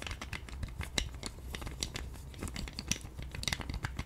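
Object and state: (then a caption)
Plastic roller massager. Long nails tap, scratch and spin the two white spiky plastic rollers of a hand-sized pink plastic roller massager. The result is a steady stream of quick, dry plastic clicks and scratchy ticks with bright, short transients that die away almost instantly, over a soft low rumble.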